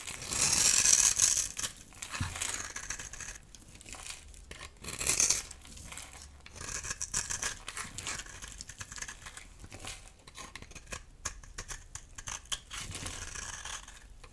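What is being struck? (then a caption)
Bar of soap scraped with a metal blade. A metal utility knife blade carves and scrapes a solid, dry, oval yellow bar of soap held in the palm, with shavings falling off. The result is a bright, dry, crumbly scraping and crackling that comes in uneven strokes, loudest at the start and again around the five-second mark, with very little low end.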